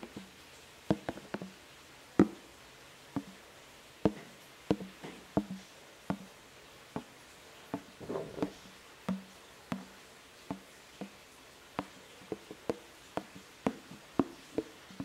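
Fingertips and nails tap and scratch the green plastic lid of a large translucent plastic food container, which is hollow and partly filled. The clip is a series of short, dry knocks with a hollow mid-low body and quick decay, plus a brief scratchy rustle near the middle.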